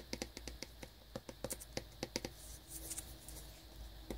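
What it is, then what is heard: Cellophane-wrapped cardboard box. Fingernails tap and lightly scratch the side panel of a small cardboard wireless earbuds box still in its cellophane shrink-wrap. Around seventeen short, crisp ticks with a dry, papery click fall in quick irregular bursts. Between and after them comes a soft crinkly rustle from the fingers scratching the wrap.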